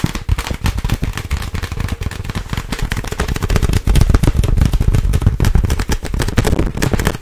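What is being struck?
Inflated plastic air pillow.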